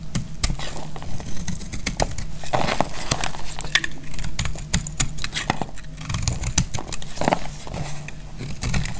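A metal utility blade shaves a solid oval bar of dried red-and-white striped soap held in the hand. Rapid, dense crunchy scraping and crisp clicks repeat throughout over a steady low rumble, as crunchy chips come off the bar.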